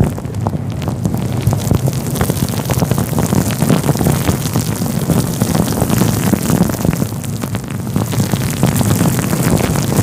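A fluffy grey-white synthetic faux fur windscreen covering a microphone is rubbed and squeezed with the fingertips of both hands. The result is a steady, close, rumbling rustle heavy in the low end, dotted with dense, quick crackles and soft scratchy brushing throughout.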